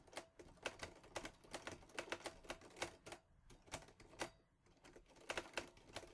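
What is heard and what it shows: Fingertips type quickly on a mint-green Olivetti Lettera 22 portable typewriter with a metal body and paper loaded. A fast, uneven run of sharp, bright metallic clacks follows, each strike dying away almost instantly, with a brief lull before the typing picks up again.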